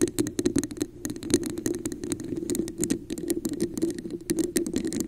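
Long acrylic nails tap and scratch the textured sides of a hollow, empty red translucent plastic cup with a raised scale pattern, placed upside down over a microphone. Rapid, dense clicks and scratchy patter fill the clip, each tap ringing briefly with a hollow, plasticky resonance around 350 Hz.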